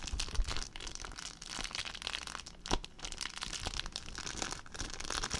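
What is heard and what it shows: An empty clear plastic zip bag is crumpled and crinkled by hand, producing a dense, continuous stream of sharp, bright crackles over a low rumble. The crinkling is steady throughout, with louder bursts near the start and about midway.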